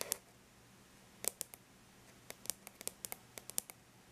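Long bare natural nails lightly tap the flat silver-gray aluminum lid of a laptop, giving fourteen quiet, sharp, bright clicks in loose clusters. Each tap dies away almost instantly over a faint low hum.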